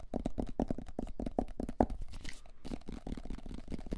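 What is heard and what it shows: Fingertips and nails tap and scratch the white lid and sides of a hollow, medium plastic supplement tub with an orange label. Rapid, dry, hollow taps with a low-mid body come in a quick, uneven rhythm, and a stretch of bright, scratchy nail noise runs through the middle. Each tap dies almost instantly.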